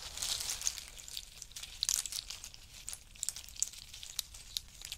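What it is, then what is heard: In-shell pistachio pile. Fingertips rake through a pile of in-shell pistachios, with handfuls rubbed together and dropped back onto the pile. It makes a quiet, bright, dry crackle of clicking shells, with sharper clacks standing out over a steady rustle. Each click dies away almost instantly, with no ring and almost no low end.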